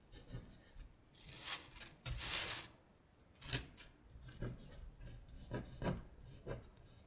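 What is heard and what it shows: A thin printed paper worksheet lies flat on a glittery surface while long stiletto acrylic nails rub and scratch across it. Bright, rasping strokes come in bursts. The two loudest sweeps come first, followed by shorter, softer scrapes.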